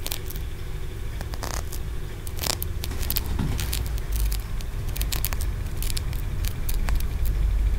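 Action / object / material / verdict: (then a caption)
tap / small tiered aventurine stone pagoda / aventurine stone / none. Short fingernails tap and scratch along the ridged tiers of a small solid green aventurine stone pagoda. Quick, irregular clicks and dry scrapes flicker bright over a steady low rumble that rises slightly toward the end.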